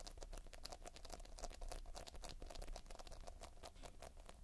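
Fingertips knead, press and scratch a solid, soft mound of sticky multicolored polystyrene foam-bead playfoam. The result is a quiet, continuous patter of rapid, short crackling clicks that die away almost instantly, over a steady low rumble with a faint tone near 700 Hz.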